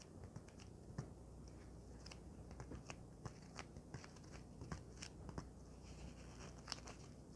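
A folded white polyethylene foam packing sheet is tapped and scratched with long nails and fingertips. A quiet, steady run of short, crisp clicks and soft scratchy crunches with bright edges sits over a low, constant hum. Each tap dies away almost instantly.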